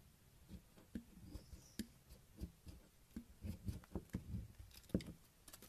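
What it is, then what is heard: Bar of soap being shaved. A solid pink bar of soap held in the hand is shaved by a yellow utility knife blade, curling off flakes. Quiet, soft scraping strokes come in short, dry bursts with a low, muffled body and little ring, spaced irregularly through the clip.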